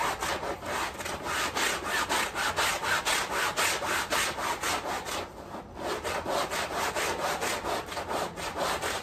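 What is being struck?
Fabric rug scrubbed with a stiff push broom.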